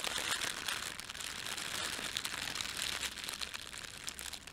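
Fingertips pinch, rub and crumple a thin red printed plastic bread bag laid over a white plastic bag. The result is a steady, bright, dense crinkling with quick irregular crackles and almost no low end across the whole clip.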